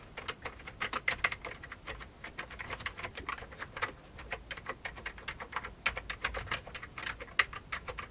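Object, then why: Plastic computer keyboard. Fingertips of both hands type on a full-size vintage beige plastic computer keyboard. The result is a steady, irregular stream of bright, clicky key taps that die away almost instantly, with a few sharper, louder strikes and very little low end.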